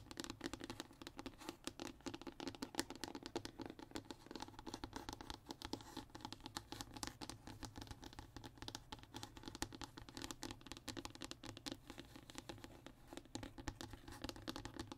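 Short fingernails and fingertips scratch and tap across a flat, thin brown hardboard (MDF) fiberboard sheet lying on a table. A continuous run of quick, dry scratches and soft taps continues at a steady, quiet level, with a woody low-mid body and some bright scratchy edge.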